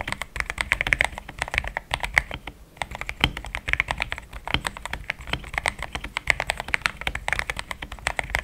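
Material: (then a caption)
Plastic. A compact pink-and-white plastic mechanical keyboard with thick plastic XDA keycaps, a polycarbonate plate and linear switches, resting on a desk mat, is typed on fast with the fingertips of both hands. A dense stream of short, dry clacks with a bright edge around 2 kHz and a soft low thock underneath, each press dying away almost instantly, with a brief pause near the three-second mark.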